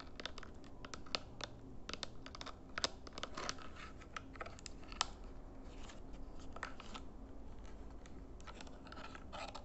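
Fingertips and nails tap rapidly on the buttons and back casing of a small, hollow plastic RGB infrared remote control held in both hands. The result is a dense run of short, bright, clicky taps with almost no ring, heard over a steady low hum.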